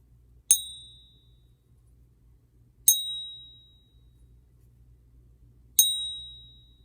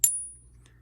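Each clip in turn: First: Three high, bright pings near 3.8 kHz, each ringing clearly before fading: a genuine silver coin. Second: A single sharp, bright click from a struck coin that dies away fast without the sustained ping of real silver.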